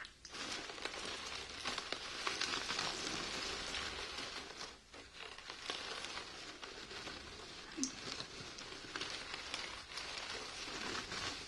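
A small drawstring burlap sack printed "Heart of the Desert Pistachios," full of nuts, is held in both hands with long painted nails while the nuts are shaken and the bag squeezed. It makes a continuous bright, rain-like patter and crinkle that swells and dips, with a brief lull in the middle.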